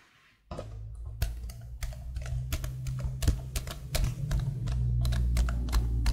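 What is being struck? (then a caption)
Plastic laptop keyboard keys. Long blue-painted nails and fingertips tap and type on a detached black plastic laptop keyboard with patterned keycaps, held behind the mic. After a brief near-silence, crisp, bright plastic clicks and taps start up in an irregular typing rhythm. A steady low rumble sits beneath them and grows slightly louder toward the end.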